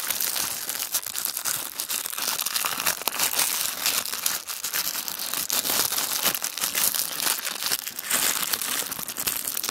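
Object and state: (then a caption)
Tissue paper sheet. A single thin sheet of tissue paper is rolled and crumpled into a tight wad by the fingertips of both hands on a wooden table. The result is a steady, dense, bright crinkling with many quick crackles and almost no low end, continuing for about ten seconds.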